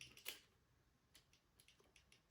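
The second lever of an ERA lever lock, lifted with a pick, taps freely, showing it is set in its true gate rather than bound. Nine quiet, bright metallic ticks are heard: a louder cluster at the start, then sparser light taps.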